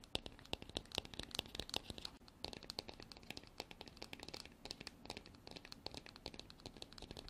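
Long black artificial nails tap and scratch the embossed surface of a hand-sized, hollow, white frosted hard plastic container that appears empty. Dozens of quick, dry, bright clicks follow one another in an irregular stream, with scratchy rasps between them and almost no ring after each hit.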